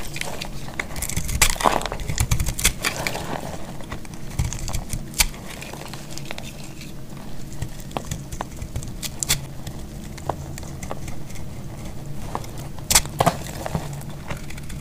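A solid, dry yellow soap bar held in the hand is cut and scraped with a metal utility-knife blade, so crisp shavings break off onto a pile of flakes. Irregular dry crackles, scrapes and sharp bright snaps sound over a steady low rumble, with a few louder cracks standing out.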